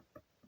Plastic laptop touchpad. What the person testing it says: you can actually hear this sort of hit on the bottom, sort of what do you call it? Kind of hollow